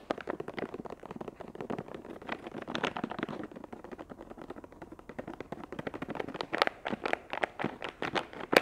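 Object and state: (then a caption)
Plastic wet wipes pack. Long acrylic nails tap and scratch the crinkly surface of a soft, hollow, flexible plastic film wet wipes pouch printed with chamomile flowers, held in both hands. A steady stream of quick, dry crinkling clicks and scratchy rustles follows, with short bright taps that die away almost at once. Toward the end the taps come sharper and more spaced out.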